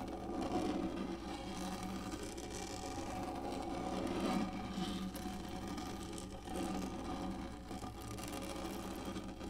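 Long fingernails on both hands scratch rapidly back and forth across a large, hollow-molded black plastic lap tray with a textured surface. The result is a steady, dense scratching rasp over a low hum, with slight swells in loudness throughout.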